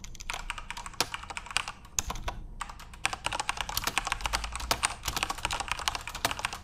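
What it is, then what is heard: Plastic keyboard being typed on. Fingertips type continuously on a backlit plastic Corsair mechanical keyboard with RGB LEDs. Rapid, bright, sharp clicks come in dense bursts, with a brief lull just before the 3-second mark before the typing resumes.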